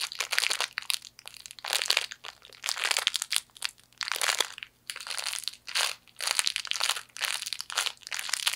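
A broken fortune cookie inside a plastic wrapper is crushed and squeezed with fingers. It makes repeated bursts of bright, crisp crinkling and crunching, with short quiet pauses between squeezes and no low rumble.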